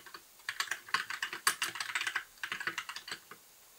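A compact white mechanical keyboard with plastic keycaps, a blue backlight and a hollow case is typed on with the fingertips of both hands in continuous key tapping. Short, bright, clacky keystrokes come in irregular bursts with brief pauses, each tap dying away almost instantly with no low thump beneath.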